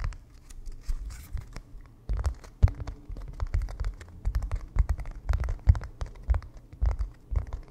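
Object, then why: Stretched canvas on wooden frame. A small white painter's canvas stretched on a wooden frame with a hollow back, held in both hands, is scratched and tapped with fingertips across its front and edges. Dry scratching strokes mix with quick, soft taps that give low, hollow drum-like thumps from the taut surface.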